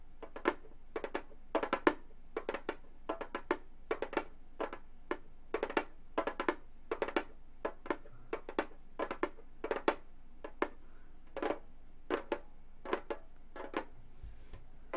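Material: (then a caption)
Synthetic skin. Gold metal claw nails on both hands tap a hollow Remo frame drum with a synthetic skin head. The result is a steady stream of quick, dry, hollow taps in uneven clusters, each with a mid-low tone and almost no ring, over a faint low hum.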